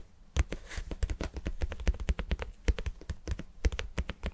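Fingertips and nails tap rapidly on the sides of a hand-sized, glossy red-pink vinyl cube, likely hollow, held in both hands. The taps are quick, dull, low thuds with crisp clicky edges that stop almost instantly, with a brief soft rustle early on.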